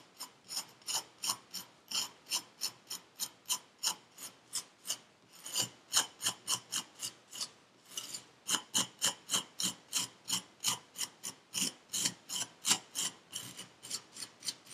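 A metal needle tool scrapes through the surface of purple kinetic sand packed into a paper cup. About 43 quick, dry, bright rasping strokes come in a steady run of roughly three per second, with short gaps near the middle. Each stroke cuts off sharply with almost no low end.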